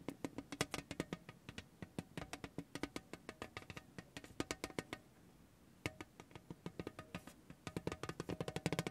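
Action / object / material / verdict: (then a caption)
tap / thin tin tray tapped by a rubber ball / tin / none. A spiky orange rubber massage ball is pressed and rolled by hand across a large, thin, lithographed tin tray, making rapid, dry rattling taps with a hollow, low-mid body and bright clicky edges. The taps come in quick irregular bursts, pause briefly around the middle, then resume and grow denser and louder toward the end.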